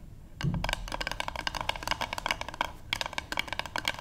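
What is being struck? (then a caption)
Wooden paddle hairbrush back. Long nails and fingertips of both hands tap quickly on the flat back of a light, solid-wood paddle hairbrush resting on a table. The result is a rapid, uneven patter of dry, bright clicks with almost no ring, over a faint low thump near the start.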